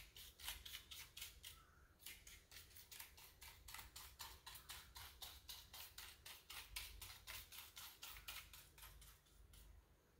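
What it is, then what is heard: Plastic computer keyboard. Fingertips and nails rub, press and scratch the keycaps of a full-size black plastic computer keyboard with a hollow body. About three dozen bright, dry brushing strokes follow in a quick, uneven rhythm, with a brief pause near the two-second mark. A faint low hum sits underneath.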